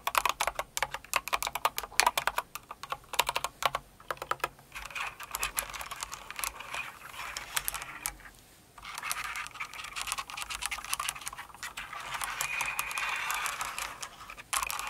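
A full-size light blue and pink Cinnamoroll mechanical keyboard with plastic keycaps is typed on, giving rapid, sharp, bright clacks for the first few seconds. Long acrylic nails then brush across the keys as the hands move around the board, making a continuous dry, scratchy rustle with a brief pause midway. It swells slightly near the end and closes with a few last taps.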